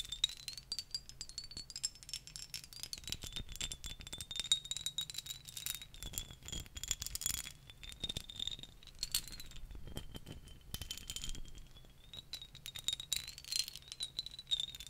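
Long nails tap rapidly on a dark glass perfume bottle and its cap, making a quiet, continuous stream of sharp, bright clicks with almost no ring. A thin, high tone near 3.8 kHz wavers underneath the tapping throughout.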